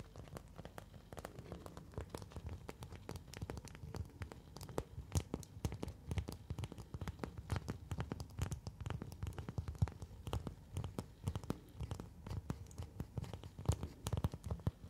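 A thin, translucent orange plastic document sleeve is held in both hands and rubbed, flexed and crinkled with fingertips and long nails. The result is a continuous stream of quick crackles, scratches and rustles, mostly low and dull with sharp, bright clicks throughout.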